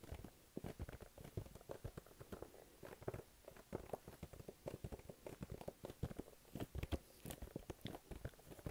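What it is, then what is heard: Printed cardboard box. Fingertips rapidly tap and stick-pull on the front face of a small, flat, glossy pink printed cardboard box, which is hollow and held up in both hands. The result is a quiet, fast, uneven patter of soft, dull, low-heavy taps mixed with faint sticky peeling clicks. Each sound stops almost instantly with no ring.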